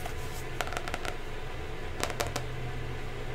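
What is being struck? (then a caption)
Cardboard hardcover notebook. A pink hardcover notebook with a cardboard or paper cover and a barcode sticker, held upright in one hand, is tapped and scratched on its flat, solid cover with long manicured nails. Short, crisp clicks come in two quick bursts over a steady low hum, each tap dying away almost at once.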